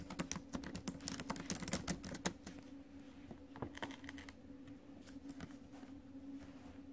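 Fingertips and acrylic nails tap the plastic keys of a silver metal-bodied laptop keyboard in quick, uneven bursts of short, crisp clicks. The typing is densest and loudest in the first couple of seconds, then thins to softer, scattered taps over a steady low hum.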